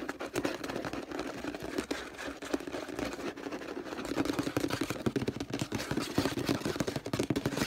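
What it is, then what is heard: Plastic detergent bottle. An orange, hollow plastic detergent bottle lies on its side while fingernails scratch and tap its label in a fast, busy stream of crinkly scrapes and light clicks. The sound has a hollow plastic resonance that becomes denser and louder about halfway through.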